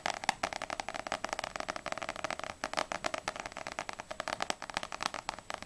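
A small paperback manga, volume 1 of No.6, with a glossy paper cover, is held in both hands and tapped quickly with long nails on its solid front cover, then tilted at the end. The result is a fast, steady stream of crisp, dry clicking taps, centered in the mids with a bright edge and almost no low end.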